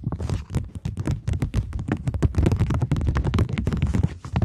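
A single polymer £20 plastic banknote is held flat, flexed and pulled taut between fingers while long nails tap and crinkle it. The result is a dense, steady stream of quick, dry taps and crinkles with heavy low thumps and bright crackly edges that stop instantly with no ring.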